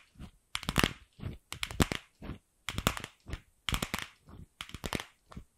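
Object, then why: Plastic ball tapped and scratched with fingernails. Long acrylic nails tap and scratch a single empty, fist-sized pink hollow plastic ball. Short, irregular bursts of crisp clicks and scrapes follow one another with brief silences between them. The sound is dry and bright with a light low thump, and each hit stops almost at once with no ring.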